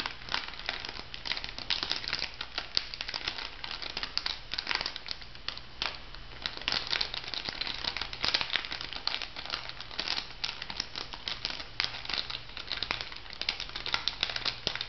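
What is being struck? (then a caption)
Small filled plastic foil sachet. A small, flat, pink printed plastic-foil bath-salt sachet, filled, is held and crinkled and scratched by long manicured nails. Dense, bright crinkling and crackling with sharp scratchy ticks runs steadily through the clip over a faint low hum.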